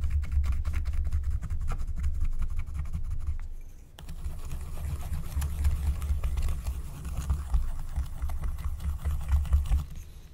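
A wooden stylus, held by a hand with long painted nails, scratches a flat, thin, black wax-coated paper scratch-art card resting on a table. Rapid, dry scratching strokes ride over a steady low rumble, fade to a brief lull near four seconds, then resume in denser, scraping passes.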